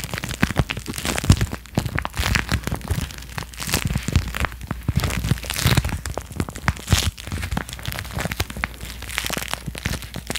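Fingertips with dark-painted nails crumple and rub a thin, hollow, empty piece of clear crinkly plastic packaging held in both hands in front of the microphone. The result is a dense, continuous run of sharp crackles and crinkles over a low rumble, with bright, hissy peaks that rise and fall in bursts.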